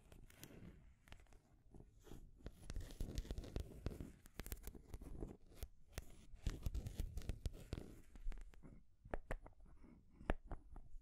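Long grey nails tap and scratch a small rainbow wooden stacking ring toy, solid painted wood rings on a post topped with a wooden ball. Soft, dull scratching rasps swell and fade, broken by sharp, dry clicks that become sparser and crisper toward the end.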